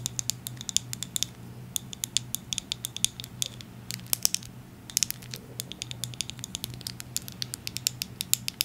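Long acrylic nails tap and scratch a medium-sized orange plastic Bliss product bottle with a white cap. A rapid, irregular run of sharp, bright clicks and scrapes sounds with almost no ring. A faint low hum sits steadily underneath.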